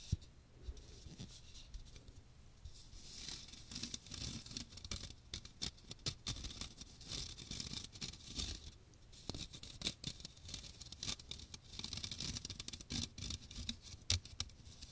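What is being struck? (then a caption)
Metal mesh strainer with plastic rim. Fingernails scratch the fine metal mesh dome of a small hand strainer with a teal plastic rim, held over the microphone. The result is a dense, bright, raspy scratching that keeps coming in quick bursts, with soft low thumps underneath and brief pauses between passes.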